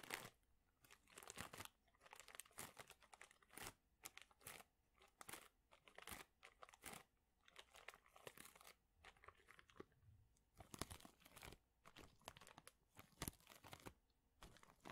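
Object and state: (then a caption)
Plastic bag of thin wooden chips. A large clear plastic bag full of thin, flat wooden chips is squeezed and crinkled with fingertips and palms. It makes a steady run of short, bright crinkling and crunching bursts with brief quiet gaps between them. Each crackle is dry and dies away almost instantly.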